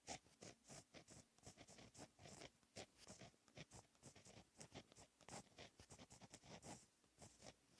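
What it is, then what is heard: Pen scratching on textured paper. A blue gel pen held in the fingertips writes Korean text on a flat sheet of black lined textured paper. The result is a quiet, continuous run of short, bright pen-on-paper scratches and strokes that rise and fall with each character.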